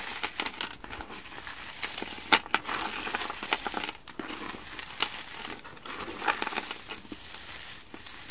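A mound of small, colorful frozen foam sponge cubes on a wooden surface is squeezed, crushed and crumpled between both palms and fingertips. The result is a continuous, bright crinkling and crackling texture with sharp snapping pops scattered throughout and little low end.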